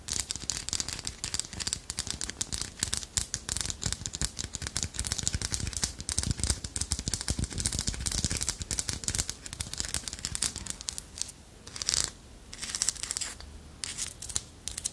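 Long nails scratch and tap the ridged shell of a small, solid carved wooden armadillo figurine. Dense, rapid clicks and dry scratching crackle with bright high-frequency texture, easing into sparser bursts near the end.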